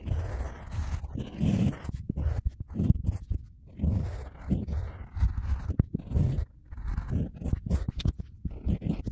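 A stylus carves lettering into a solid, flat square slab of wet, unfired pale-yellow ceramic clay resting on a board while the other hand holds the slab steady. The sound is a series of soft, low, dull scratching and scraping strokes with a gritty crunch. The strokes come in short bursts separated by brief pauses.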